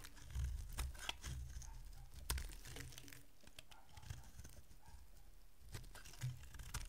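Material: Soap.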